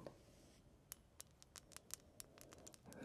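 Fingertips and nails tap and flick the thin bars of a small silver metal pendant shaped like a gate, with open, not hollow, metalwork, hanging from a chain. The result is a quiet, irregular series of short, bright metallic ticks and tinkles that die away almost instantly, over a soft low background rumble.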